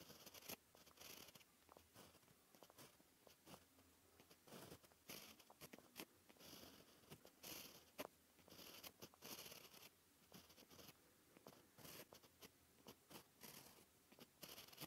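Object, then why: Gel pen on paper sheet. A white gel pen tip scratches across a flat black paper sheet while writing Japanese text. Quiet, bright scratchy strokes and short ticks come in uneven bursts with brief pauses between them, with little low end and almost no ring after each stroke.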